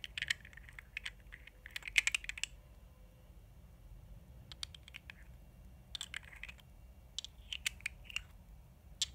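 Long nails tap on the glass sides of a small, thick glass gel-liner jar with a black lid and dark product inside, held in the hands. Quiet, bright, clicky taps come in quick clusters with brief pauses between them. Each tap dies away almost instantly, leaving no ring.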